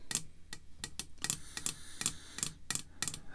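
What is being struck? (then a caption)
Hard plastic card slab. Long red fake nails tap on a clear, hard plastic graded card slab lying flat. Twelve sharp, bright clicks come at an uneven pace, each dying away almost at once, over a faint low hum.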